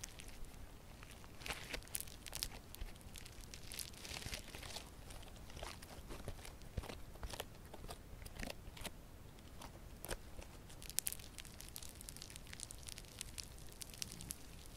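A hand-sized lump of yellow crunchy slime with a foam-bead texture is crushed in the fists, then pressed and squeezed between both hands with long purple nails. It gives a steady stream of quiet, sharp, bright crackles and pops, like fine crunching or crinkling, over a low soft rumble.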